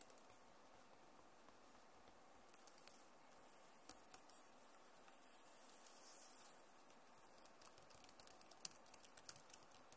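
Long nails tap and type on the plastic keys of a backlit Acer laptop keyboard, making quiet, irregular clicks. A soft, steady hiss sits under scattered sharp, bright taps that come thicker toward the end.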